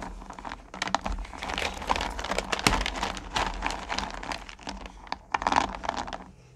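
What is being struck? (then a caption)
Small sugar candies in a plastic pail. One hand and then both hands rummage through and scoop small, solid pumpkin candy corn in a purple plastic pail. A dense, crinkly rattle of candies clicking against each other and the plastic rises in bursts of louder, bright scooping, with a low steady hum beneath.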